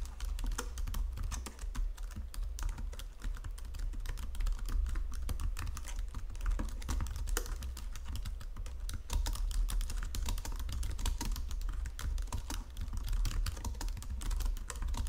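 A white plastic Logitech full-size keyboard resting on marble is typed on with both hands using fingertips and long nails. Continuous, rapid key tapping produces dense bright clicks over a low, steady rumble for the whole clip.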